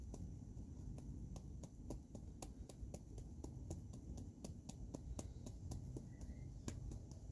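Fingertips and short nails tap and scratch across the rough, pebbly peel of a single whole, solid, fist-sized dark-green avocado held in both hands. A quick, steady run of soft, dry clicks, each with a brief bright tick, sits over a constant low, rumbling hum.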